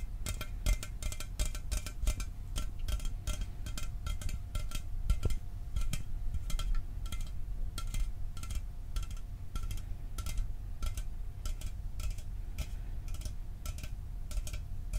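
A sealed, hollow 12 oz Mountain Dew aluminum soda can is held in one hand and tapped with the fingernails at a slower pace. Each tap is a short, bright metallic click that dies away almost instantly, over a low, steady rumble with a faint constant tone.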